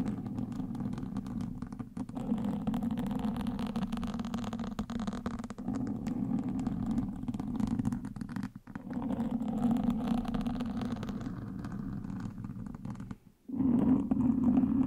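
Wooden sticks held in the fingertips scratch and poke a black foam windscreen on a microphone. The result is a dense, continuous, muffled scratching rustle centered in the low-mids with almost no high end. It briefly drops out just before 2 seconds, around 8.5 seconds, and near 13 seconds, then resumes.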